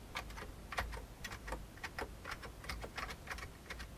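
Fingertips of the right hand type on the keys of a full-size vintage beige plastic computer keyboard, producing a steady run of short, bright clicking keystrokes with brief decay. A low hum sits underneath throughout.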